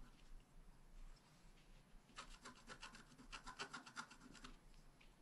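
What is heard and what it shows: A pointed wooden stylus scratches fine lines into the grass and flower areas of a thin, flat, black wax-coated scratch-art card lying on a table. After about two seconds of quiet, low background hiss, a quick run of short, dry, bright scratching strokes comes in and continues for roughly two and a half seconds before fading back to the quiet hiss.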